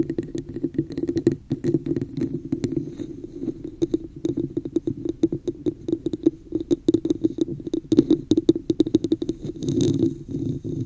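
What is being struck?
Textured plastic cup.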